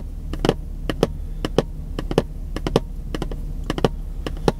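A long, narrow, printed cardboard product box that looks empty or lightly filled is held in one hand while fingertips tap and scratch its printed surface. Around seventeen short, dry, hollow taps arrive in an irregular rhythm, with quick bright clicks and soft scratching between them. A steady low rumble sits underneath throughout.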